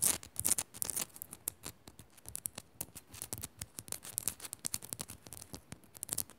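Long nails scratch fast over the rough top of a small, solid pink rock-salt crystal on a pink Himalayan salt lamp. The result is a rapid, irregular run of short, crisp, high-pitched scrapes and clicks that die away almost instantly.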